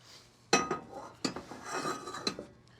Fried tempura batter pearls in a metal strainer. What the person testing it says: can hear how crispy they are when you shake them around